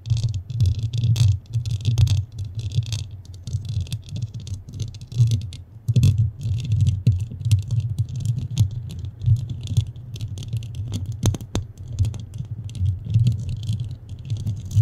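Long fingernails scratch and tap a soft, porous black foam windscreen on a standing microphone from both sides. The result is a dense, muffled low rumble with constant thumping and brushing, plus faint bright crackles.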